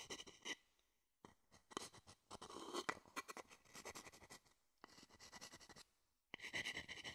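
A small, hollow, empty wooden bowl held in one hand close to the microphone has its outer and inner surfaces rapidly scratched and tapped with the tip of a wooden spoon or stick. Dense bursts of bright, dry scratching and quick clicks come in several runs separated by short silences, with a high tone ringing faintly through them.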